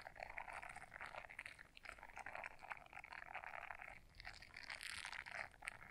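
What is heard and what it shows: Long nails scratch the bristles of a small blue silicone scrubber brush folded in half. The result is a quiet, steady run of dense, crisp scratching and crackling with bright, rubbery texture, swelling and easing in short strokes with a brief pause near the end.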